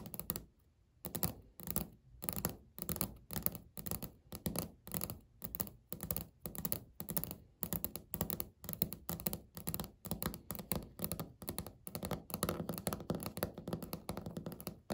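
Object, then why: Laminate countertop. Natural fingernail tips tap rapidly, close up, on a flat, solid, beige speckled laminate countertop. The taps come in quick bursts of dull, low thunks that die away almost instantly, with brief pauses that blur into a steady patter toward the end.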